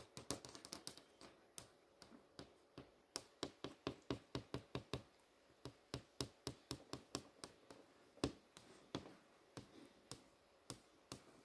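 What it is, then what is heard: Flat-screen TV panel tapped with nails. Long manicured nails tap and trace across the thin, rigid panel of a large flat-screen TV showing a movie page. About 38 sharp, quiet clicks come in an uneven rhythm, each bright and dying away almost at once, with faint scratchy tracing between them.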